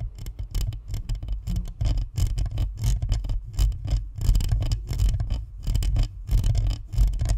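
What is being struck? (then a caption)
Plastic microphone body with perforated metal grille. Both hands cup a white spherical Blue Snowball USB microphone, a hollow plastic body with a perforated metal grille, while long nails scratch across the shell and grille. Close, irregular bursts of scratching come through as a heavy, boomy low thud and rumble with scattered bright, crackly edges, rising and falling in rough waves with no steady rhythm.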